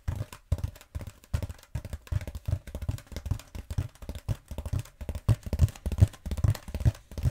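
Long nails tap and scratch a long black bead foam roller held horizontally in both hands. The result is a rapid, uneven patter of dull, low thumps that die away at once, with a faint scratchy rustle between them.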